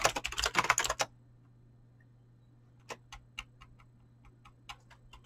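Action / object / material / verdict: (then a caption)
tap / mechanical keyboard with plastic keycaps / plastic / none. Fingertips with short painted nails type fast on a Razer BlackWidow mechanical keyboard with clicky green switches and pink-blue dyed PBT plastic keycaps, producing a dense burst of sharp, bright clacks for about a second. After a near-silent pause with a faint steady low hum, lighter, scattered key taps resume and continue to the end.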